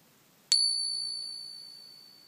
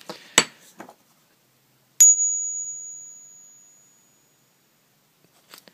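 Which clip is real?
The first.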